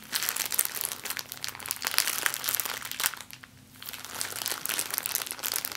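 A small, clear, empty plastic zip-lock bag is held in both hands and scrunched with long nails and fingers, giving a dense, bright crinkling crackle with almost no low end. The crinkling runs steadily, drops to a brief near-silence a little past the midpoint, then resumes at a similar level to the end.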